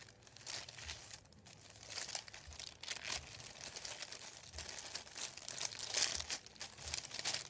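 Fingertips tap, rub and crinkle a thin, flat sheet of printed white paper lying on a wooden table. The result is a quiet, continuous run of bright, high crackling and rustling with short sharp bursts of crinkle and almost no low end.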